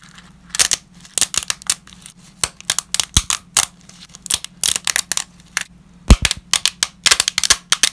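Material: Dried pasta.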